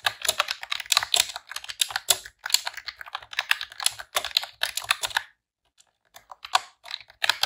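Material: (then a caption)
Plastic. Long press-on nails and fingertips type in rapid key presses on a pink retro-style plastic computer keyboard with round keycaps. Bright, sharp clicks and clacks come in quick bursts, with a brief pause near the end before the typing resumes.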